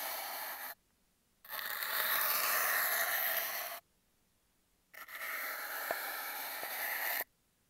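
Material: Cardboard.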